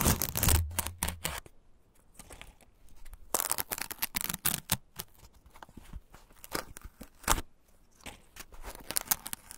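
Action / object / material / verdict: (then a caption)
scrape / corn husk on an ear of corn / plant fibre / none. Fingertips peel and tear the green, fibrous husk layers lengthwise from a single solid, whole fresh ear of corn held in the hand. Bright, crackling rips and fibrous tearing come in irregular bursts, loudest and fullest at the start with a low rumble underneath. Quieter scraping and rustling fill the gaps between them.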